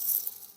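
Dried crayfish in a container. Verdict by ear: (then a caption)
Dry. Oven-dried crayfish are poured or stirred inside a cooler, giving a brief, crisp, high-pitched rattle that fades quickly. The crisp sound shows the crayfish are properly dried; undried crayfish do not sound as crisp.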